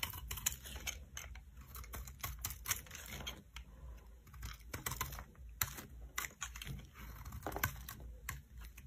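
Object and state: Bar soap being shaved.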